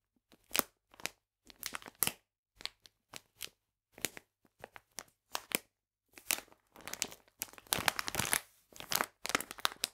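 A full plastic bag of polenta is held and turned in the hands while the fingers crinkle it. Short, bright, crackly crinkle bursts come in quick separated clusters, growing denser and more continuous toward the end.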